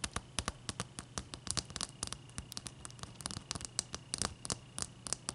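Long dark-painted nails of both hands tap rapidly on a large, clear, solid ice cube resting on a towel. The taps are short, dry, bright clicks with almost no ring, forming a quick, uneven patter over a soft low background.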